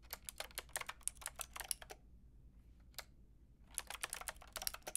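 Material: Plastic.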